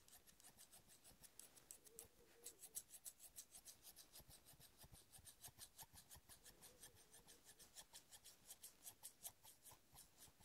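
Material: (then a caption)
Steel. Fingers rub rapidly along the solid metal blades of large steel scissors with black handles, held in both hands, near the pivot and handle. The result is a quiet, steady train of short, bright rasping strokes with little low end and almost no ring.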